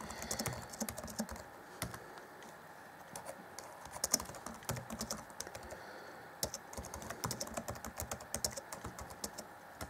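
Fingertips of both hands type on the black plastic chiclet keys set in the grey deck of a hollow Acer Chromebook C20 (2014) laptop keyboard. The result is a stream of quick, bright plastic clicks and taps that die away almost instantly. The typing comes in bursts, with quieter gaps around two to three seconds and again near six seconds.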